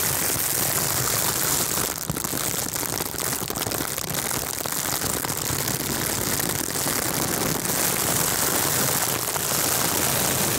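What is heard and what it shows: Crinkly silver mylar, a metallized plastic film, is wrapped around a microphone and squeezed and crinkled with the fingertips of both hands. The result is a steady, dense crackling hiss that is heaviest in the high, bright range. It stays at an even loudness throughout, with no separate hits standing out.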